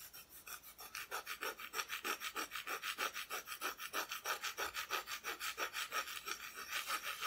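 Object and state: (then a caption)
Unfinished wooden decoration back. Long nails scratch and rub back and forth across the bare, unfinished wooden back of a flat, solid Christmas decoration cutout. About 25 quick, rhythmic strokes, roughly three per second, give a dry, bright rasping hiss with almost no low end.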